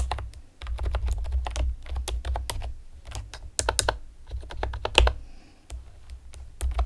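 Long painted nails and fingertips rapidly tap the hollow round retro keycaps of a pastel plastic typewriter-style computer keyboard. The result is a quick, uneven run of sharp, bright plastic clicks and clacks, each decaying almost at once, over a steady low hum.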